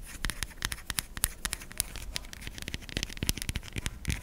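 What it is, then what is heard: Bar of soap. A solid white bar of soap held in the fingers is scratched and scraped with long nails. The result is a quick, irregular run of dry, crisp scratches and clicks with a bright, hissy edge, each one stopping almost instantly.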